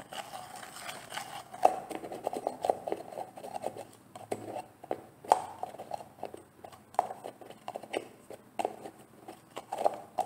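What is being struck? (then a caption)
Plastic jar. Long painted nails tap a large, green, translucent plastic jar of olive oil styling gel that looks full and is held in the hand. The taps come as quick, dry clicks in an uneven rhythm, each with a brief hollow midrange knock near 750 Hz that dies away almost at once. The overall level stays quiet, with a few sharper taps standing out.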